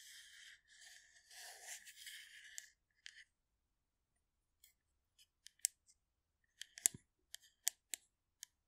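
Long nails scratch and tap along the body of a hollow blue metal aerosol can of shaving foam held in both hands close to the mic. A few seconds of bright, continuous scratching give way to an irregular series of sharp, high, clicking taps with almost no ring.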